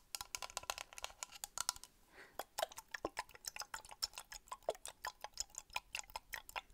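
Long painted nails tap rapidly on a small, hollow, clear plastic toy fishbowl with a lime-green plastic lid and small plastic toy fish inside, held in both hands. The result is a quick, uneven run of dry, bright ticking clicks with almost no low end and no ring, broken by a brief soft rustle near the two-second mark.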